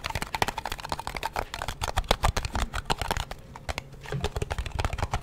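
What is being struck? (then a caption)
Small metal cream tin. A small, round, flat blue metal cream tin, hollow and held in both hands close to the mic, is tapped and scratched on its lid and rim with fingertips and nails. Rapid, irregular dry taps with a low hollow thump mix with bright scratchy rasps. Each hit dies away almost instantly with no ringing.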